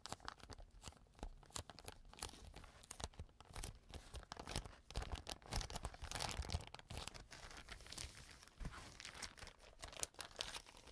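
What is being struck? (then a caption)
Clear plastic zip bag. A clear plastic zip bag is opened by fingers pulling the zipper apart, then lifted and handled. Dense, rapid crinkling and tearing-like rasps with quick bright clicks run throughout, over a soft low rumble of handling.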